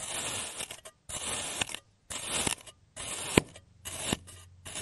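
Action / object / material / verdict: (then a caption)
scrape / block of kinetic sand cut with a plastic cutter / kinetic sand / none. A clear serrated plastic cutter slices a solid oval block of blue kinetic sand, molded on a green surface, into thin layers. Each pass gives a bright, grainy scraping hiss that stops short between cuts, with a few sharp clicks as the blade goes through. The slicing repeats at an uneven pace.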